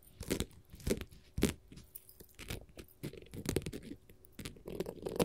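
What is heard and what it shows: Long gold metal finger-jewelry nail caps scratch and tap across a flat, solid blue glitter faux leather sheet. Dry, crunchy scrapes mix with soft, dull taps that carry a low body and brief bright edges. Each sound dies away almost at once, with no ring.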